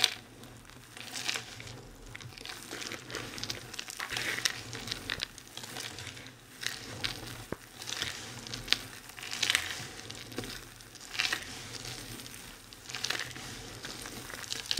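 Fingertips rake through a pile of crumbled dry soap shavings on a white surface, and hands squeeze and crush handfuls of the flakes. The result is a crisp, bright crinkling and crunching that swells in repeated bursts over a faint low background.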